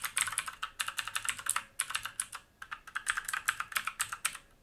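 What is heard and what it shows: Both hands' fingertips type quickly on a full-size black mechanical keyboard with plastic keycaps and a metal top plate, set on a wooden desk. The result is a rapid run of short, bright, clacky keystrokes with almost no ring, broken by brief pauses before about 1.8 s and around 2.6 s.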